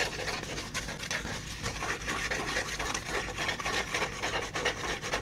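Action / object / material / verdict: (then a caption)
scrape / flat folded cardboard piece / cardboard / none. Fingertips rub and scratch along a flat, folded tan cardboard piece held close to the microphone and tilted by one end. The result is a continuous dry, rasping scrape with a bright, hissy edge and quick, uneven strokes that rise and fall steadily throughout.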